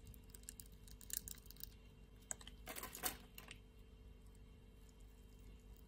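A utility-knife blade shaves cubes off the grid-scored surface of a solid pink-red soap bar, making a series of quiet, crisp ticks and scrapes with bright edges. A denser, louder burst of crumbling scrapes comes near the middle, over a steady low hum.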